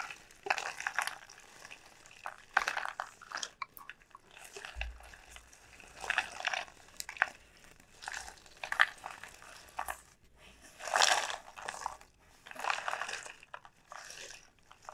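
A large, elongated dried bottle gourd with a hard, hollow shell is held and turned by hand while fingertips and long nails rub and tap it. The result is a series of dry, scratchy, crinkly bursts with quick, bright taps that die away almost at once, separated by short quiet gaps. A faint low hum runs underneath through the middle of the clip.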